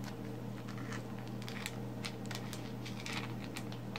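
Very long pink acrylic nails scratch all over and tap a fist-sized solid black lump of coal that is held while resting on a woven placemat. Quick, bright scratchy clicks and taps scatter over a steady low hum.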